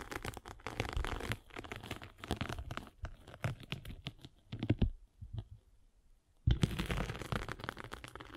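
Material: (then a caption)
Abrasive foam. A metal-spiked derma roller is rolled across the abrasive face of a palm-sized solid abrasive foam sanding sponge block. It makes a dense, crinkly, tearing scratch with a heavy low rumble. The sound thins to a near-silent pause and then resumes at full strength.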